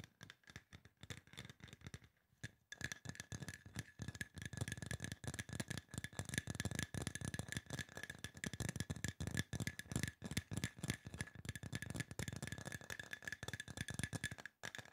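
A tall, hollow silver aluminum spray bottle with a trigger sprayer is held in hand and tapped quickly with fingertips and nails. The result is a dense, fast rattle of short clicking taps with a low body and a steady bright ring. A brief pause comes near the start before the rapid tapping resumes and continues to the end.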